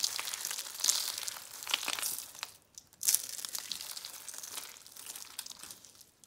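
Whole dry, brittle, hollow-rolled orange and red soap curl roses are squeezed and crushed in bare hands into flakes over a pile of soap crumbs. A steady stream of bright, crisp crackling and crunching fills the clip, with a brief near-silent pause around three seconds before a sharp burst of crunching resumes and gradually thins out.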